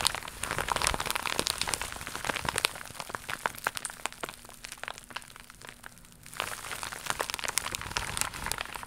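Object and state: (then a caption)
Faux leather pouch. A thin, seemingly empty, flat iridescent crocodile-embossed faux leather (vinyl) pouch is held in both hands and tapped and scratched with long pink nails. Rapid, crisp, crinkly taps and dry scratches come in a dense, bright stream. The sound quiets for a stretch near the middle, where a faint low hum shows through, then grows busier again.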